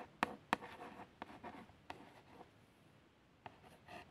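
A long fingernail traces the printed words on a small, hollow cardboard box of plasters. Sharp taps and dry scratching strokes come in irregular bursts, with a quiet pause before a few final scrapes. The sound is mostly mid-range, with little low end and a touch of high, brittle texture.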